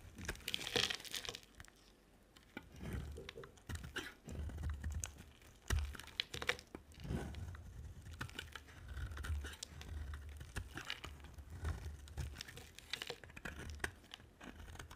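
A utility knife blade scrapes and carves a dry, solid white soap bar with a black layer, held in the hand. Quiet, dense runs of crisp scratching, crumbly crunching and soft tearing scrapes come in bursts, with a low rumble underneath and short bright edges on each stroke.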